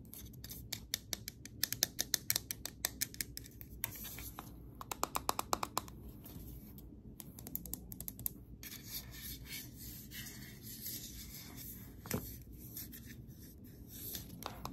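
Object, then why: Aluminium aerosol can. An aluminium Nivea Men shaving gel can, a hollow metal aerosol cylinder held in the hands, is tapped and scratched with long acrylic nails. Quick, sharp, bright clicks come in rapid bursts over the first six seconds and again around eight seconds, each dying away almost instantly. Between them runs a dry, hissy scratching with a faint high ring, over a low, steady background rumble.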